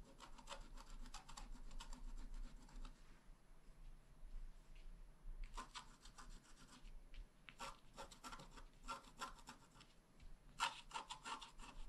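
A wooden stylus tip scratches a flat, black wax-coated scratch-art card, a solid thin page about A5 in size, lying on a table. Quiet, dry, raspy scratching strokes come in quick bursts with a bright edge and short pauses between runs.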